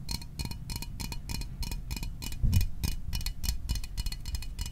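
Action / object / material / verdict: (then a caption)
tap / small aluminium soda can / aluminium / none. A small, hollow metal Fanta orange soda can is held in the hands and tapped with fingertips and fingernails. The result is a quick run of short, bright, tinny clicks with a faint metallic ring, over a steady low rumble.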